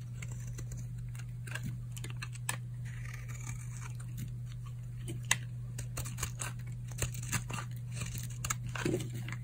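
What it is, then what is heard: Dry bar soap. A solid, old, dry tan oval bar of soap is held in the hand and carved with a utility knife blade, making a string of short, crisp crunching and scraping cracks with bright edges. The cracks sit over a steady low hum, and the soap appears to break into pieces.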